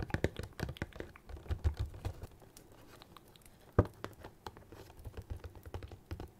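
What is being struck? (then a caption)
Cardboard box with plastic window. A small Star Wars Funko Pop box of printed cardboard with a clear plastic window and the figure inside is held close in both hands and tapped rapidly with fingertips and nails on its front and sides. The result is a quick patter of soft, dull, low-heavy taps with almost no ring. The tapping eases through the middle, then one sharper knock stands out before the patter picks up again.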